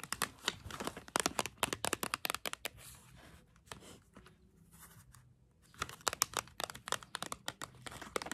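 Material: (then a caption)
Cardboard. Long acrylic nails tap and scratch a small printed cardboard box of 16 swirl crayons, hollow and filled with crayons, held up close. Quick, bright, crisp taps come in busy bursts, ease into a softer, quieter scratching stretch in the middle, then pick up again toward the end.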